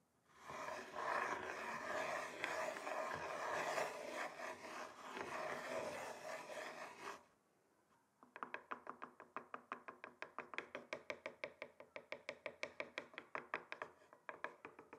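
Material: Wood.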